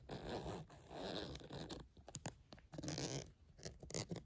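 Long nails tap and scratch the surface of a small pink polka-dot glossy vinyl zippered cosmetic pouch, which is hollow and soft, while it is picked up and handled. Broad, raspy scratching passages alternate with short, sharp taps over a soft, dull low body.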